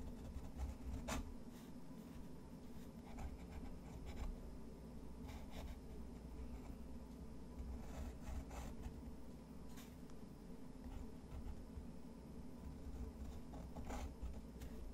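A fountain pen's metal nib scratches small strokes across a rough, textured white watercolor paper sheet. Soft, dry scratching and rubbing with brief bright ticks recurs throughout at a low level, over a steady low hum.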